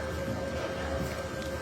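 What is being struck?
Nothing is struck.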